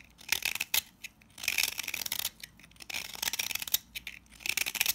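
A box-cutter blade scrapes grainy shavings off the face of a palm-size pink solid salt scrub soap bar held in hand. Dry, gritty, crackling scrapes come in several bursts, all high and bright with almost no low end and no ring after each stroke.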